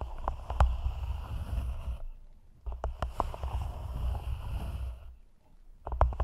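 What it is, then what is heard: Clear plastic cup. Long nails tap and scratch the sides of an empty, hollow, thin clear plastic cup held over the mic. The result is a muffled, hollow rumble broken by sharp clicky taps, arriving in three bursts separated by brief quiet gaps.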